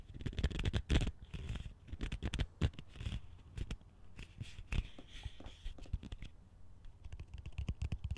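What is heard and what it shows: Fingertips tap and scratch the rim and perforated base of a large, hollow, empty green plastic colander held upside down. A steady run of dull, hollow low thumps mixes with dry, papery scratching and a faint bright hiss, each tap dying away almost at once.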